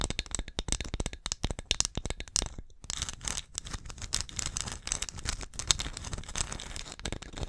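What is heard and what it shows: Long acrylic nails scratch and tap the glossy surface of a small, hollow, painted orange ceramic pumpkin ornament with "BLESSED" lettering, held close to the mic. Rapid, crisp clicks and scratchy rasps cluster densely with bright highs and a soft low thump. A brief pause comes near the three-second mark.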